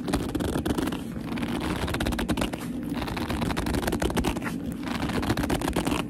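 Long almond-shaped nails and fingertips grip, squeeze and scratch the surface of a small, hollow black leather handbag held close to the microphone. The result is a steady, dense stream of squeaky rubbing and crackly scratching, full in the low end, with quick bright ticks throughout.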